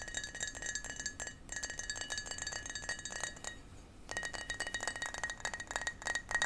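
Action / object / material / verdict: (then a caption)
tap / small glass shot glass / glass / none. A small glass shot glass is tapped repeatedly, giving quick, bright clinks with a high ringing tone near 1.9 kHz. The tapping pauses briefly just before the four-second mark, then resumes with the same chime-like glassy ring.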